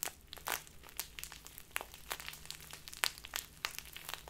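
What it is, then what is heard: Crinkly plastic tea bag. A small crinkly plastic bag full of loose tea is squeezed and crumpled in both hands with long nails. It makes a steady run of bright, sharp crackles and crinkles with quick, dry bursts and no ring.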